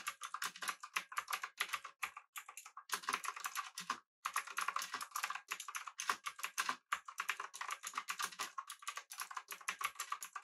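Fingertips of both hands type rapidly on a full-size, backlit, typewriter-style mechanical keyboard with blue switches, an aluminum body and round plastic keycaps. The result is a fast stream of crisp, clicky keystrokes with a bright, high edge and very short decay. Brief pauses break the typing near 2, 4 and 7 seconds.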